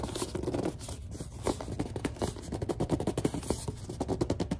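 Long dark nails scratch and grip a large white plastic Suave lotion bottle, including around the cap area. A rapid run of short scratching, scraping strokes and squeaky grip sounds comes through, soft and dull with most of the weight in the low end.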